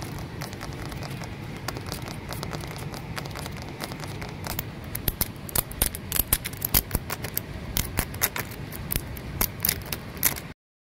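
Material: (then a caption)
Concrete. Nails and fingertips scratch and tap the rim and side of a large, heavy, solid-walled grey concrete plant pot with a rough, porous surface. A steady low, gritty scratching fills the first half, then quick, sharp, bright taps and clicks pop out over it at an irregular pace until the clip ends.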